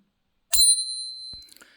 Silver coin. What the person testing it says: See that lovely long ring?